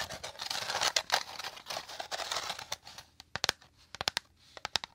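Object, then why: Woven rattan bowl. Fingernails quickly scratch a hollow, dome-shaped woven rattan bowl, making a dense, bright, crackling scratch for about three seconds. The sound then thins out into sparse, sharp, dry ticks and taps that die away almost instantly, with almost no low end.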